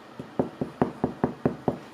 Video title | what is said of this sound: Pyszny i prosty chleb cebulowy. Domowy pyszny chleb. Becia gotuje - poleca. | Taki pusty dźwięk, to znaczy, że wszystko jest dobrze.